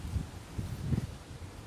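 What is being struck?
Nothing is struck.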